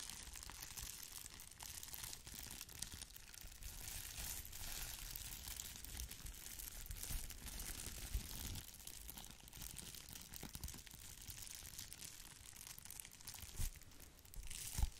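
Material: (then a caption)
Plastic. A small red plastic bubble-wrap mailer has its bubbled surface scratched and crinkled by long nails. Quiet, continuous crackling and scratching with many fine bright crinkles runs throughout, with a few louder crunches near the end.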